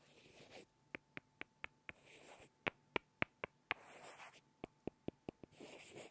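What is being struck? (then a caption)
Two small wooden blocks. Two small solid light-wood blocks are rubbed and tapped together by hand in a soft, close setting. Hushed rubbing swishes alternate with three quick runs of sharp, dry, bright clicks that stop instantly.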